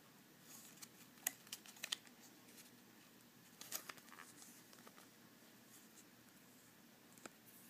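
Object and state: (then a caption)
Plastic blister pack. Fingertips and fingernails tap and squeeze a small retail blister pack: a clear hard plastic blister holding six black ceramic disc magnets on a printed cardboard card. Quiet, bright plastic clicks and faint crinkles come in irregular scattered bursts, each dying away almost instantly, over a soft steady hiss.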